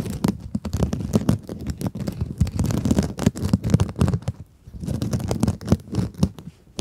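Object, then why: Glittery mesh scrub sponge. Long acrylic nails scratch a small pink scrub sponge with a glittery mesh surface. The scratching makes dense, crackly rasps with a heavy low, rumbling body and very little brightness. The strokes come in quick bursts with a short quiet lull around the middle.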